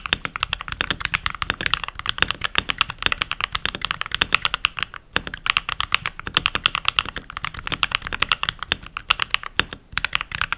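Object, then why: Mechanical keyboard with plastic keycaps. Fingertips with short nails and rings type continuously on a full-size backlit mechanical keyboard with pink plastic keycaps. Rapid, bright, crisp clacks follow one another with very short decay and little low end. The typing pauses briefly around the five- and ten-second marks.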